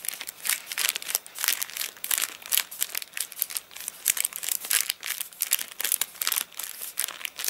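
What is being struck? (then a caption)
Paper catalogue. Both flat hands rub and scratch across the crinkly pages of an open, rain-warped paper catalogue that has dried, then fingers lift a page. The result is a steady run of dry, bright crackling and crinkling bursts with almost no low end.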